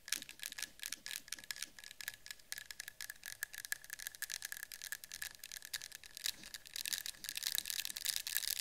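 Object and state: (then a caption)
Metal candle tin. Long pink-and-white patterned acrylic nails tap quickly on the side and top rim of a small cylindrical metal citronella candle tin with a yellow-green label, likely filled with candle wax. The result is a rapid, uneven stream of crisp, bright clicks over a steady faint metallic tone near 1.7 kHz, growing louder and denser toward the end.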